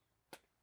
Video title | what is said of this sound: Emsco + Amerimax Rain Barrel | I can tell it's empty just by shaking it around a bit.